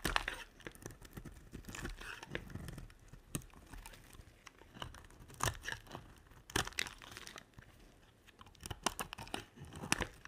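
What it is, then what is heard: Glycerin soap bar being shaved. A black utility-knife blade scrapes and shaves curls off a hand-sized, solid, translucent yellow-green glycerin soap bar held in one hand, with a pile of shavings building up nearby. Quiet, dry crinkling and crunching scrapes come in a rapid series of short strokes, with a few sharper, brighter cuts standing out.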